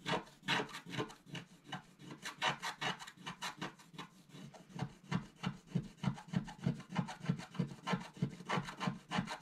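A wooden stylus scratches away the black coating of a flat scratch-art paper sheet held down by one hand. A steady run of short, rasping strokes repeats at a quick, uneven pace, each with a dry, low body and a bright scratchy hiss.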